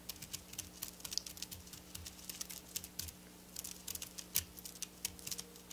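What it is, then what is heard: Sequin fabric scratched with fingernails. Long black nails scratch and rub over silver sequin fabric lying on a table, making quiet, bright, rapid clicking and ticking. Short, crisp taps and rustles come in an uneven patter, with a faint steady low hum underneath.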